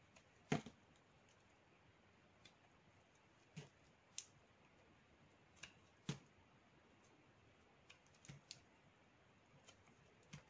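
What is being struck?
Bar of black soap cut with a metal knife.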